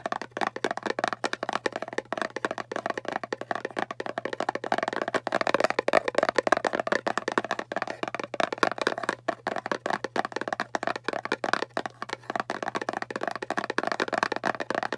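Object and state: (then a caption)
Round cardboard box. A small, hollow round kraft cardboard box is held in both hands while its lid and rim are fast-tapped with long painted fingernails. The result is a dense, rapid stream of short, dry clicks with a hollow mid-range tone, steady for the whole clip.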